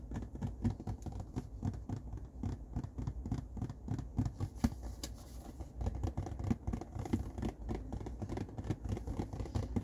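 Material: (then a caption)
Cardboard. Fingernails scratch and tap the barcode side panel of an empty, hollow blue cardboard tissue box held on its end close to the listener. The result is a dense, continuous patter of quick, dry scratches and taps with a dull, hollow low-end body around 230 Hz. Each tap dies away almost instantly, with little brightness on top.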